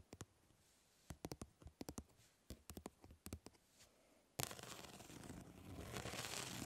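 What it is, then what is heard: Plastic mesh fly swatter. Long nails scratch across a plastic grid-mesh fly swatter, making a quick, uneven series of short, dry scrapes with brief pauses between them. Partway through, the scratching turns into a continuous, louder, bright rasping that carries on to the end.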